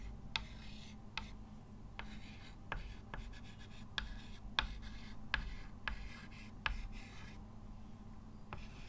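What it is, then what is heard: Chalk writing on a chalkboard. A hand writes with a short white chalk stick on a framed dark chalkboard lying flat, making a steady scratching rub. Sharp bright chalk taps and strokes stand out at intervals over a quiet, low steady hum.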